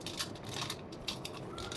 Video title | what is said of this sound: పల్లీ బెల్లం ఉండలు! | చూడండి ఎంత టక్ టక్మని సౌండ్ వస్తున్నాయో